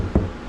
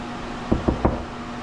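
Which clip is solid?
The second.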